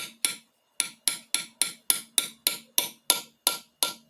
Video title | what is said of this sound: How to Rebuild Mitsubishi Triton Challenger L200 2.5L TDi CRDi KA4T KB4T 4D56T 4D56U 131KW Part 7 | we just tap it gently and you'll hear there's a different sound when it hits the bottom